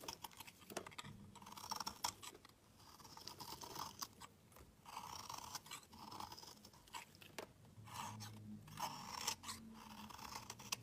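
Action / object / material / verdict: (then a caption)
scrape / bar of soap scraped with a blade / soap / none. A steel utility knife blade shaves and scrapes thin curls off the surface of a solid, hand-sized dark grey-black bar of soap held in one hand. The result is a quiet, steady run of crisp, crunchy scraping strokes with a bright, papery edge and a faint hum around 1 kHz, each stroke stopping dry with almost no ring.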